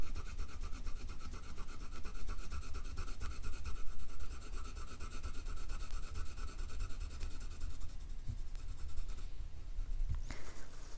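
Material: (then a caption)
Paper. A wooden colored pencil rapidly scratches and shades back and forth across a thin printed paper dot-to-dot sheet on a wooden table, filling in an area with grey while the other hand steadies the sheet. The result is a continuous, dry, scratchy rubbing with a steady low rumble underneath and a brief sharper scrape near the end.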